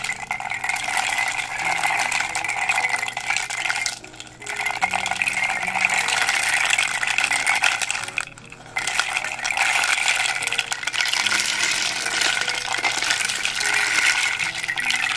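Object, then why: Round wooden rain drum with loose beads inside. Long dark nails tap and scratch the face of a flat, hollow, round dot-painted wooden rain drum with a wooden rim, tilting it so the contents inside rattle. A dense, bright, hissing rattle runs almost continuously, with two brief quiet dips around 4 and 8.5 seconds.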